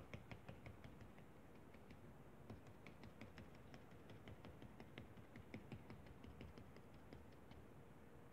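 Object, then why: Kinetic sand on a foil plate, plastic spatula. The edge of a blue plastic spatula repeatedly taps and presses into flattened pink kinetic sand on a foil paper plate, making line impressions. A steady, somewhat uneven series of soft, short, crisp taps with faint bright clicks sits over a low, dull rumbling bed, each tap dying away almost instantly.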